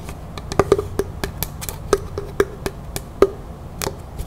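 A small hollow lidded box carved from dark natural wood with bark-like sides is held and tapped on its top and sides with long natural fingernails. It gives quick, irregular, hollow clicks and knocks with a woody tone around 400 Hz and almost no ring.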